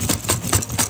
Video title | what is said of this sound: Eating ONLY 5 Below Food for 5 Days! | Sounds like there's a bunch of metal in this bag.